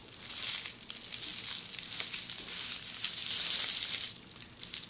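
Long polished fingernails scratch and press a flat sheet of red, air-filled plastic bubble wrap lying on a surface. The result is a steady, bright crinkling and scratching rustle that swells and fades over five seconds, with almost no low end.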